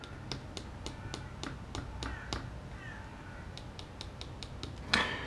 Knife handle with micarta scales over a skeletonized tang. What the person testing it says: Sounds hollow. That doesn't mean that the outer shell of this assumed micarta is hollowed out on the inside. It is because the handle is hollowed out